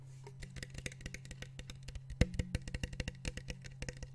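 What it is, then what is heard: Plastic water bottle. A small, clear PET water bottle with a blue cap, partly filled with water, is held in one hand while the fingertips tap rapidly on the cap and the bottle. About 29 short, dry, hollow taps sound over a steady low hum, with one louder tap about halfway through.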